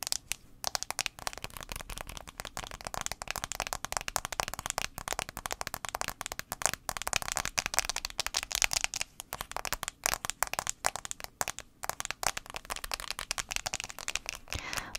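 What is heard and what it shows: Long acrylic nails tap rapidly on the rose gold aluminum back of a handheld iPhone 6s. The result is a dense, continuous stream of sharp, bright clicks with almost no low end. Each tap dies away instantly, with no ring.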